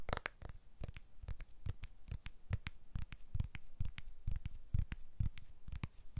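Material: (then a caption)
Glass, aluminium. A small blue glass-and-aluminium iPhone 12, held in both hands above a Tascam recorder, is tapped on its back and edges with fingertips and short nails, then lowered close to the mics. About 28 quick, irregular taps are heard, each a soft low thump with a bright click that dies away at once.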